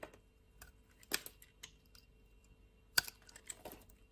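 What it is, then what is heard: Bar of soap being cut. A solid purple bar of soap held in a hand with long nails is sliced and carved with a utility knife. Sparse, crisp cutting and scraping clicks sound with a bright, dry snap and no ring, two standing out louder against a quiet background.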